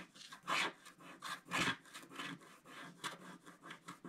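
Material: Wax, paper.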